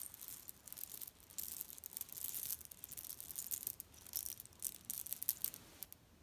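A hand squeezes a grey leaf-print cotton pillow filled with cherry stones, then lifts one corner and shakes it so the pits rattle. The result is a quiet, dense, bright rattling and crunching in bursts of tiny clicks, with almost no low end.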